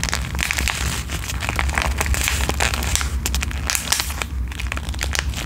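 A flat, filled pink foil/plastic sheet mask sachet is crinkled and scratched with long nails, giving dense, bright crinkling and sharp scratchy ticks over a steady low hum. The crackling runs continuously for the whole clip with only brief dips.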